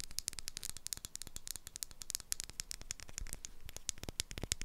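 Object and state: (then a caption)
Glass jar with metal lid. Long acrylic nails tap and scratch the top of the metal lid on a small dark glass jar with a paper label on top. The result is a rapid, dense stream of short, bright clicks with a soft low thump beneath, and each tap dies away almost instantly.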